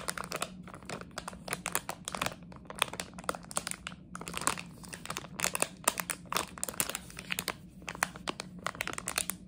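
A small red and white Harry Potter jelly bean plastic bag, hollow and partly filled, is crinkled and scratched with long nails. Dense, bright crackling and rapid scratchy clicks come in uneven bursts over a faint, steady low hum throughout.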